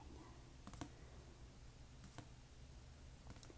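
An old, battered hardcover copy of Grimms' Fairytales is tapped to check its structural integrity. Six short, soft, dull taps come in three quick pairs over a steady low background hum. Each tap dies away almost at once.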